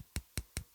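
The rubber pinch roller from a 1995 JVC cassette deck is tapped four times, giving short, dry clicks with a low thud that die away almost instantly. The rubber has aged and gone completely hard, like hard plastic, so it no longer grips the tape and needs replacing.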